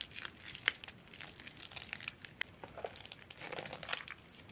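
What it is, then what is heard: Soaked soap, wet and soft. Fingers squeeze and tear soft, waterlogged, crumbly bar soap in a yellow bowl. The result is quiet, bright, wet crinkling and crackling with many small sharp snaps and squishy tearing sounds and almost no low end.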